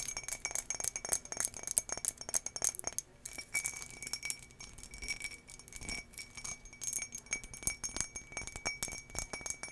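Long nails and fingertips tap rapidly on an empty, hollow turquoise embossed glass tumbler with a textured surface, held in the hand. The result is a dense stream of quick, bright glassy clicks and clinks, each dying almost instantly, over a faint steady ring near 2.3 kHz and higher.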